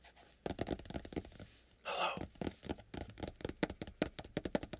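Fingertips of both hands tap and scratch across the burgundy fabric-covered hard board cover of a small spiral-bound notebook lying flat and closed. A fast run of dull, dry taps is broken near the middle by a longer, brighter scratching sweep, then the rapid tapping resumes.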